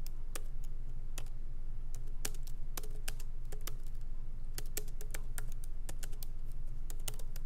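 Both hands type with their fingertips on a MacBook Pro laptop keyboard, its plastic keycaps set in an aluminum body, while the laptop rests on a wooden desk. Light, quick key taps land as short, bright clicks in an uneven rhythm over a steady low hum.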